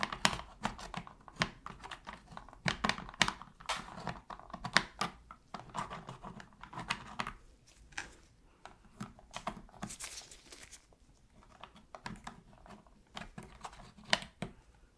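A thin metal pick held in a gloved hand scratches in the seams near the shoulder buttons of a black, hollow, hand-sized hard-plastic PS3 controller. The result is a quiet run of short, dry, bright clicks and scrapes with crinkly texture and almost no ring, coming in uneven bursts with brief pauses between them.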